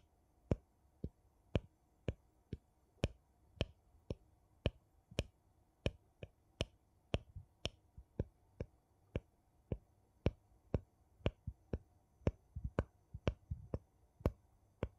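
The edge of a gold metal lid on a small glass jar, held sideways, is tapped and clicked with a thin wooden piece. A steady series of short, sharp clicks follows, each dying away almost at once, with a soft low body under bright ticks and a quick cluster of taps near the end.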